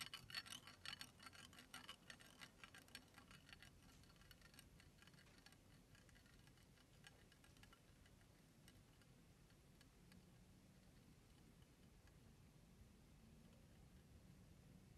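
Fingertips crush and crack thin, hollow, empty brown eggshell pieces in a blue-striped ceramic bowl, making a quick flurry of bright, brittle crackles and ticks. The crunching is densest in the first few seconds, then thins into softer, scattered crackles over a low background rumble.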